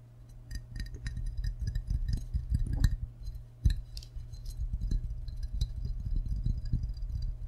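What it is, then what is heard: Ceramic mug tapped with fingertips and nails. A medium-sized, hollow, glazed ceramic mug shaped like a green-and-white frog is held in both hands and tapped with fingertips and short nails on its white belly and sides. Quick, irregular taps give short, dull knocks edged with bright, clicky nail ticks that die away almost at once, over a steady low hum.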